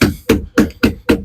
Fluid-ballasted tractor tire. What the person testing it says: It's hollow right about the axle.